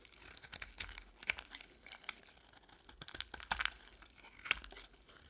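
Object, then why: Bar of soap carved with a knife blade. A utility-knife blade carves brittle white curls off a solid white rectangular bar of dry soap held in the hand. A quiet series of dry, crisp crackles and scraping snaps is heard, bright with little low end and centered around 2.2 kHz. Each crunch stops short with no ring.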